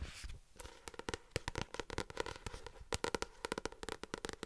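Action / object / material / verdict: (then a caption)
tap / paperback book with card cover / card / none. A paperback novel is held upright close to the mic while its glossy card front cover is tapped with long nails and fingertips. An irregular run of sharp, dry clicks and softer thuds follows, each dying away almost instantly, with a papery ring around 460 Hz and bright nail ticks on top.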